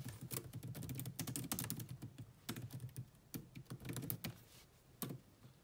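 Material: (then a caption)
Plastic. Two hands type on a grey laptop keyboard with black plastic keys, striking them with long nails and fingertips. Quick bursts of taps carry a dull low thud with bright clicky edges that die away almost instantly. The pace pauses briefly at times before the typing resumes.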